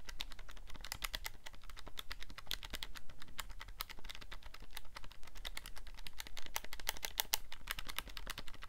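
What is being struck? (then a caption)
Plastic scientific calculator. A handheld black plastic scientific calculator with a hollow casing is held in both hands while thumbs and fingertips click its buttons quickly. The result is a steady, rapid stream of short, dry, bright plastic clicks with almost no ring, over a faint low hum.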